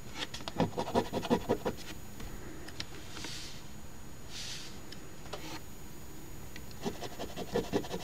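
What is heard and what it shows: A coin held in the fingers scrapes the coating on a flat paper $10 Crossword Deluxe instant scratch ticket from the Ontario lottery, lying on a table, near the top of the crossword grid. Quick, raspy scratching strokes come in two bursts, about eleven in all, at the start and the end. Between them is a quiet stretch with a couple of soft, airy swishes.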